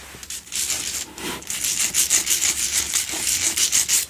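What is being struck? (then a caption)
Salt block candle holder. Long nails scratch the sides and top of a large, solid pink Himalayan salt double candle holder. Quick, uneven rasping strokes, about three per second, make a bright, hissy scratching that swells and fades with each pass and has almost no low end.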